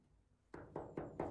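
Knocks on a massive, thick steel side piece of a car body, judged solid. Four dull, short knocks with a low-mid body follow one another quickly, each dying away almost at once.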